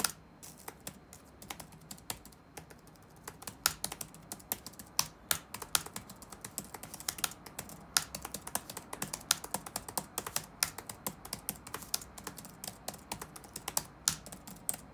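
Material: Plastic.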